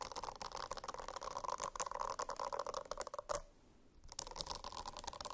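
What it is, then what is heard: Silicone notebook, scratched. Fingernails scratch a silicone-covered notebook in quick, dense strokes, producing a dry, crackly rasp with a steady tonal hum around 580 Hz and 1 kHz. The scratching stops for about half a second near the middle, then resumes at the same pace until the end.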